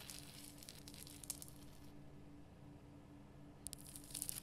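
Long nails scratch the rough crystal surface of a large, lit, pink Himalayan rock salt lamp made of solid rough salt. Dry, bright, crackly scratching fills the first two seconds, fades to a quieter stretch, then returns with sharp ticks and a final burst of gritty scraping, all over a faint steady low hum.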